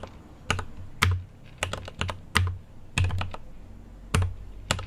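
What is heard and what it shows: Fingertips type on a mechanical keyboard with an aluminium case and plastic keycaps. Irregular bursts of short, clicky keystrokes each carry a deep low thock and a bright snap on top. Every press dies away quickly into near silence.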